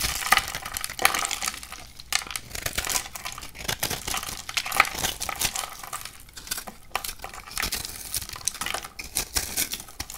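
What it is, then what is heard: Dry bar soap being cut and scraped. A metal utility knife blade cuts and scrapes a hand-sized, solid bar of dry orange-striped soap held in one hand, shaving it into slices and crumbs. Throughout, it makes dense, crisp, bright scraping and crackling with rapid dry ticks and no ringing. The soap falls away in slices and crumbs.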